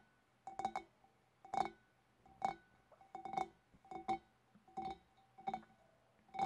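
Long dark nails tap the sides and wavy top rim of a large, empty, hollow clear glass fish bowl. Quick, bright glassy clinks come in small irregular clusters, each with a short ringing tone around 750 Hz that fades almost at once.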